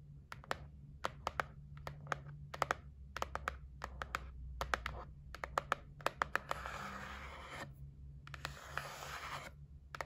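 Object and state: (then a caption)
Cardboard gift box. Long nails tap across the lid of a white printed cardboard gift box, making quick, dry, bright clicks that stop almost at once. Two stretches of raspy scratching over the surface break up the tapping, and a faint low hum runs underneath throughout.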